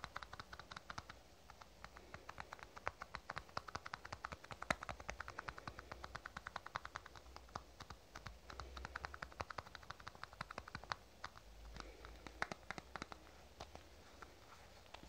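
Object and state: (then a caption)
Plastic cosmetic tube. Fingernails tap fast on a small black plastic cosmetic tube held horizontally. The result is a steady 15-second stream of short, dry, hollow clicks that die away instantly, with a midrange tone around 640 Hz, over a faint low rumble.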